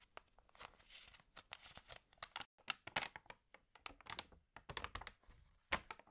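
Fingertips with long nails rub and tap across the page of an open, water-damaged glossy-paper magazine, then turn a page. About two dozen quiet, crisp taps and scratchy rubs sound bright and papery, each dying instantly with short silent gaps between, building to a rustling crinkle as the page turns.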